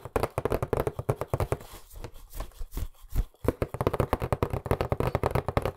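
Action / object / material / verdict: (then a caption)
tap / cardboard box / cardboard / none. A hollow, medium-size white printed cardboard box, held in both hands in front of the microphone, is tapped rapidly with fingertips and nails, producing around thirty dull, hollow knocks with a boomy low end and a boxy ring. The taps ease into a softer, scratchier stretch in the middle, then return to fast, even drumming until the end.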